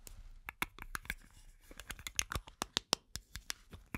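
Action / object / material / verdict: tap / metal aerosol can / metal / none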